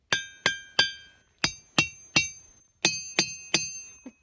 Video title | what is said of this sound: Day 31 Ringing Rocks, Bozeman Montana, Beehive Basin Hike Big Sky, Grand Teton NP, Jackson Hole USA | one clearly is not normal